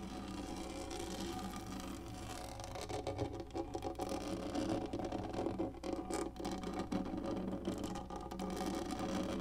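Long nails on both hands scratch fast across a large black, textured, hollow-molded plastic lap tray. The result is a dense, continuous rasping whir with a steady low hum and tonal bands around the low mids, and very little bright content. It is softer and more even for the first few seconds, then becomes busier and more uneven.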